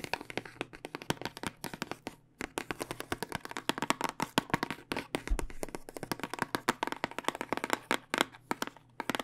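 Long dark nails tap rapidly and steadily on the plastic part of a long, clear plastic tube full of small dice with a cardboard end, held horizontally. Each tap is a short, crisp click with almost no ring, settling into a dense, slightly uneven rhythm with brief pauses.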